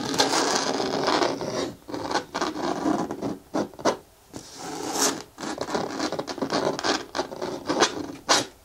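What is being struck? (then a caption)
Hard plastic lidded bin. Long nails quickly scratch the side wall of a hollow, hard green plastic bin with a handle and lid. The result is a series of dry, rasping scrape bursts with a bright hiss and almost no low end, separated by brief pauses.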